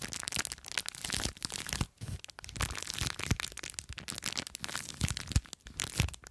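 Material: Plastic, foam.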